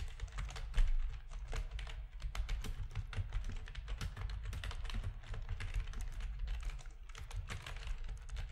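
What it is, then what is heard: Plastic computer keyboard being typed on. Fingertips of both hands type steadily on a full-size black plastic RGB-backlit keyboard with a hollow plastic housing, resting on a desk. Rapid, short clacking keystrokes with bright edges fall in an uneven stream over a steady low hum, with one louder strike near the start.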